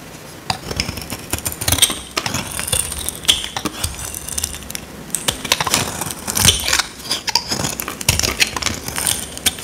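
A solid, dry, square pink soap bar held in the hand is scraped with a small metal blade, and dry flakes break off. The result is a dense run of crisp, bright scratching and crackling with sharp, quick-fading clicks and very little low end.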